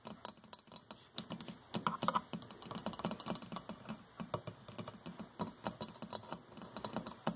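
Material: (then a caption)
Porcelain. Long fingernails tap quickly across a hollow white porcelain electric kettle with a flower print and metal band, its fill unknown. Dozens of light, sharp clicks come in an uneven patter, each dying away almost at once, like typing on a keyboard.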